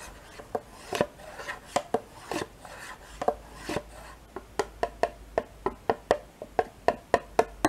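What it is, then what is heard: Plastic yogurt cup. A metal spoon scrapes and taps inside a small, thin, mostly empty two-compartment plastic yogurt cup with a paper label. Soft scraping rubs in the first half give way to a steady run of short, dry clicks, about twenty in all, with a hollow plastic tone near 690 Hz and almost no ring.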